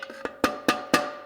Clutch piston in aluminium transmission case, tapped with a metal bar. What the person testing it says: tap it down, you can hear how it changed. So now we're all the way down.